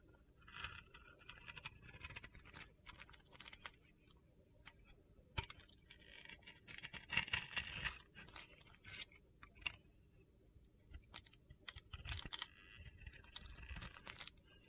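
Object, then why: Soap bar with glitter coating. A metal box-cutter blade scrapes and carves crumbly flakes off a solid rectangular bar of white soap with a blue glitter coating, held in the hand. Bright, crisp, gritty scraping and crunching comes in uneven bursts with short quiet gaps between them, with little low end.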